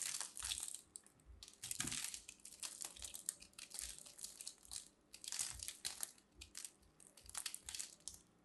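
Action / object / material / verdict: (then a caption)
scrape / ball of grated soap / soap / none. A fist-sized solid pink ball of grated soap, held in a hand with long manicured nails, is scraped and cut with a metal blade tool, shedding crumbly shavings. Repeated bright, dry crunching and scraping bursts come in uneven waves, with almost no low end.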